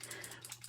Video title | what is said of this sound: OOAK Butterfly Tower Card | Do you hear that metal ball in there? It's totally shaking up.